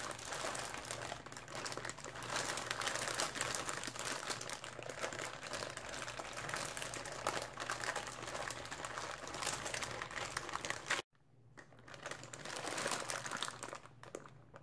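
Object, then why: Polyethylene zip-lock bag with small plastic bottles or caps. A clear polyethylene zip-lock bag filled with small blue plastic bottles or caps is held in both hands, with long dark-painted nails and fingers crinkling and squeezing it. Dense, bright crinkling continues for about eleven seconds and then cuts off abruptly. After a short near-silence, quieter crinkling resumes, possibly with the contents rattling slightly.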